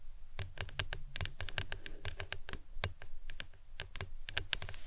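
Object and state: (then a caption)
Plastic tumbler tapped with nails. A printed hard plastic lemonade tumbler with a green lid, hollow and standing upright, is tapped on its sides with long nails. A quick, irregular series of sharp, clicky taps rings bright in the highs over a low, hollow body tone, and each tap dies away almost at once.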